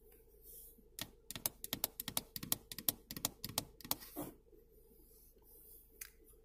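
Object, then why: Molded plastic power-window switch panel. Long painted fingernails tap and click repeatedly on the black plastic power-window switch panel on a Toyota RAV4 driver door armrest, striking its rigid molded plastic housing and hollow rocker switches. About twenty short, dry, bright clicks arrive in an uneven burst with almost no ring, then fade to quiet with one last soft tap.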